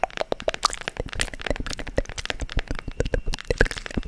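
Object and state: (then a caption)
Wooden book-shaped box tapped and scratched with nails. Long nails scratch and tap quickly along the grooved page edges and cover of a small, hand-sized wooden book-shaped box. The result is a dense run of short, crisp clicks and knocks with a woody tone near 465 Hz. Each one dies away almost instantly, mixed with light scratchy rasps.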